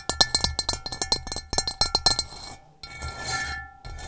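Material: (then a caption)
Ceramic. Long nails tap quickly and irregularly on the base of an upside-down, hollow, gray rough-textured ceramic bowl, making bright, clinking clicks with a faint high ring. After about 2.3 seconds, the tapping gives way to softer scratching across the rough surface.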